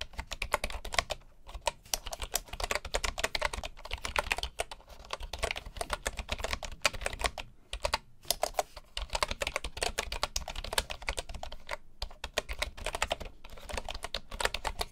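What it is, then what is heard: Bamboo keyboard being typed on. Both hands tap with their fingertips on a full-size bamboo computer keyboard with wooden keycaps. The result is a steady stream of rapid, short, dry clicks with bright tops and a soft low thud beneath. The typing runs continuously for about fifteen seconds, with a few brief pauses.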